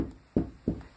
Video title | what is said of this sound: Install Wall Mount Mirror | you can knock see how it sounds hollow